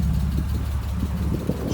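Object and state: Nothing is struck.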